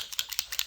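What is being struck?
Small plastic paint bottle with a metal agitator ball.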